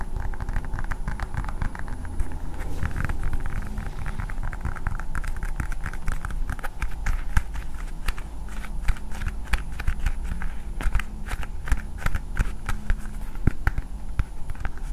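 A hand-sized hard blue plastic toy ball is held in both hands and tapped and scratched with long nails. The result is a dense, continuous run of quick, dry clicks and scratches over a low, steady rumble.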